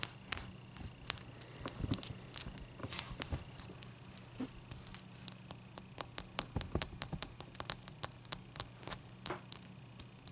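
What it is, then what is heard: Ice cube. A clear, solid ice cube is lifted and then placed on a towel, where long, dark-painted nails tap on it. Dozens of quick, sharp, bright clicks come in uneven bursts, each dying away almost at once. A steady low hum and a faint thin tone sit underneath.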